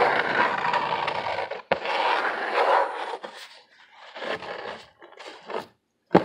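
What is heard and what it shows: Fingernails of both hands scratch hard across a brown corrugated cardboard sheet with visible ridges, held upright. Dense, rasping midrange scraping runs for about three seconds, broken by a sharp click near 1.7 seconds. It then breaks into shorter, quieter scratching bursts with silent gaps and ends on another sharp, loud click.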